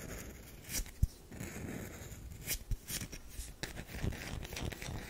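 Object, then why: Bar of soap. Long nails scratch and dig into the side of a solid tan bar of soap held close. Soft, dry scraping fills the clip with bright, papery crackles, broken by a few quick low thumps and one sharp tap about a second in.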